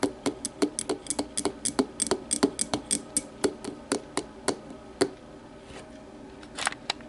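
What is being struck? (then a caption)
Glass tumbler. Long matte nails tap on the base of an empty clear glass tumbler lying on its side, making a quick run of sharp, bright clicks with a brief glassy ring. After about five seconds the tapping gives way to a soft scratching, and a few last taps close the clip.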